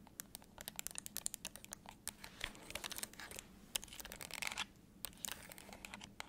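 A hollow, handheld black plastic TV remote held in one hand is tapped and scratched on its button face and body with long acrylic nails. Quick, bright clicking taps are mixed with dry, scratchy rasps, each sharp and dying away at once with no ring. The sound stays quiet and crisp throughout.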